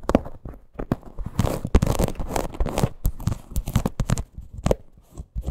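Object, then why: Small faux leather crossbody purse. Long green nails scratch and tap a small teal faux leather crossbody purse with a stitched parrot appliqué. The result is a dense run of dry, crackly scrapes and short muffled taps, mostly low in tone and with almost no ring after each contact.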